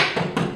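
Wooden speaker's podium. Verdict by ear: Hollow.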